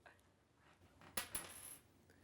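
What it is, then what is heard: Penny dropped on floor. A copper penny is dropped onto the floor of a ladies' washroom to recreate a noise that was heard earlier. Two sharp, bright metallic clinks land close together, followed by a high, thin ring that fades within about half a second.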